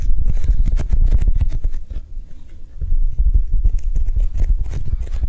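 A Japanese cheesecake squishy, a soft foam toy, is tapped quickly with soft, non-aggressive taps. The tapping is dull and low with short, damped thuds and faint bright clicks. It eases briefly around the middle and then picks back up.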